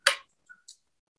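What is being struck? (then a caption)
Metal saxophone neck. A saxophone neck made of a different alloy from a brass neck is thumped once with a finger, giving a short, bright tap with a brief ring around 1.6 kHz. Two much fainter ticks follow. The neck sounds different from the brass one, showing that the alloy matters.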